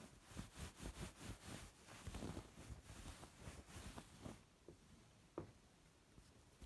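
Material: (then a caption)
Wool knit. Fingertips with long red nails scratch and rub a soft, dark grey, chunky ribbed knit wool sweater. Quick, bright, brushy scratches come in a rapid series over a low fabric rumble, then fade into quieter rubbing with one sharper tick near the end.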